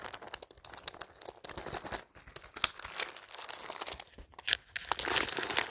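Fingertips scratch and rub across a beige handbag densely covered in faux plastic pearl beads and gold and rose-gold metal studs. The beads click against each other in a steady stream of dense, bright, crinkly ticks with almost no low end. The rubbing grows busier and louder toward the end.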